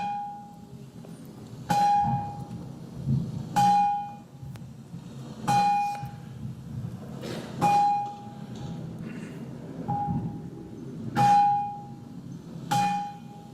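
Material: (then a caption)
Granite. A 7–10 ton block of granite from the bluestone source area, a lithophone, is struck repeatedly with a small hammerstone at irregular intervals. Each strike gives a sharp click followed by a clear, bell-like ring near 820 Hz that fades within about half a second. The rock rings musically rather than thudding.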